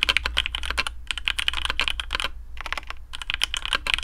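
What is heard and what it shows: Fingertips of both hands type quickly on a black AARU custom mechanical keyboard with TTC Speed Silver switches, PBT plastic keycaps, a carbon fibre plate and a hollow case. Crisp, bright clacks come in rapid bursts with short pauses around the one- and two-and-a-half-second marks, each keystroke dying away almost instantly over a faint low hum.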